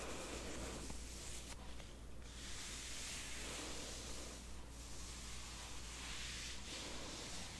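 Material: Nothing is struck.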